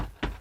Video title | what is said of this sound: caméscope patir 4 test suite bunker fin | c'est bizarre que ça sonne creux comme ça